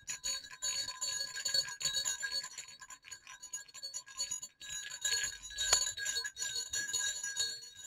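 Two small hollow silver metal jingle bells on a cord are shaken over black cloth, knocking together. The result is a steady, irregular stream of bright, high clinks and tinkling jingles with very short ring and almost no low end.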